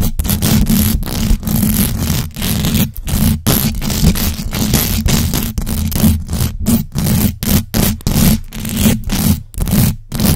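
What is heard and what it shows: Long acrylic nails on both hands scratch fast and hard across the hollow metal mesh grille of a large black USB microphone. The result is a dense, continuous rasping noise heavy in low rumble, broken by many short gaps between the strokes.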